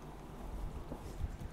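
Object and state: Nothing is struck.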